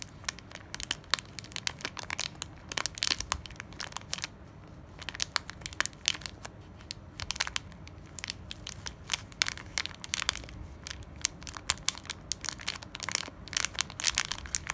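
A small, full plastic foil bag of jelly beans is squeezed and tapped with long nails, making it crinkle. Sharp, bright crackles and crinkles come in quick bursts over a soft, low background hiss. Each snap dies away almost instantly.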